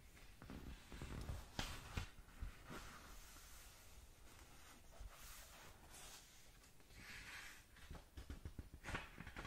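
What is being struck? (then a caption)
Paperback book pages. Long nails scratch and rub across the paper pages of an open paperback manga book. Quiet, dry scraping and soft swishing rise and fall irregularly, with a few sharper, brighter strokes over a low rumble.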